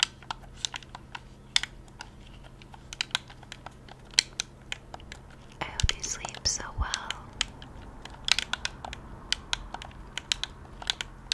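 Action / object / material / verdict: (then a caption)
tap / plastic game controller / plastic / none. A hollow, handheld plastic Xbox-style game controller is held in both hands at chest height while fingertips and thumbs rapidly press and tap its buttons. Dozens of sharp, bright plastic clicks sound over a quiet low hum, with a denser, rustling cluster of taps around the middle.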